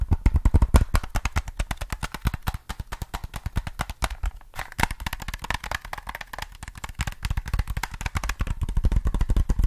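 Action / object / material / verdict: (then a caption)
tap / plastic game controller / plastic / none. Fingertips rapidly tap the back and sides of a hollow black plastic PS3 controller held in one hand. The result is a dense, steady stream of short, dull, low-pitched taps that die away almost instantly.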